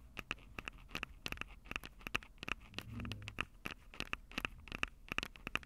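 Long acrylic nails rapidly tap the metal-grille mic capsules of a Tascam DR-05 handheld recorder with a black plastic body. The result is a quick, irregular patter of sharp, dry clicks with a bright tone around 2.6 kHz, over a faint low rumble that swells briefly near the middle.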